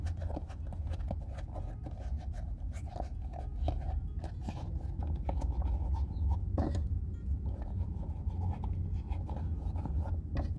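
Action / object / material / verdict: scrape / leather boot / leather / none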